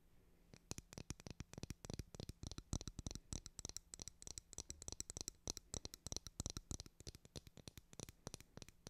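Long nails tap the back of a white plastic hairbrush and scratch across its bristles, making dozens of quick, dry clicks in an irregular stream. Each tap is short and dies away almost at once, with a bright, crisp top over a soft low thud.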